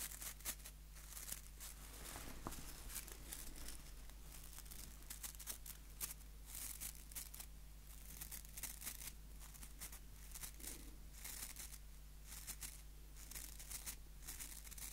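Fingertips and nails scratch and flick the dense white plastic bristles of a small hand-held wooden nail brush, a solid wooden block held near the mic. Quiet, steady bright crackling and scratching fill the clip, with rapid short flicks and no ring, over a constant low hum.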